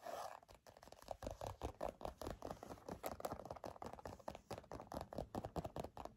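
A black, hand-sized leather bifold wallet is held in the hand while fingernails and fingertips scratch and rub across it. Quick, irregular scratching strokes follow one another with a dry, papery rasp. The sound is quiet and close, with short bursts that stop almost instantly.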